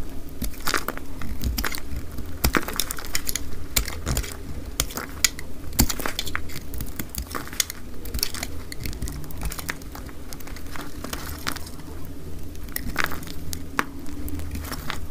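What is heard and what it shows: A utility knife blade scrapes slices off a solid, dry cream soap bar, already faceted from earlier cutting. The 2x sped-up clip is a dense run of dry, crumbly crunches and sharp crackles over a steady low rumble.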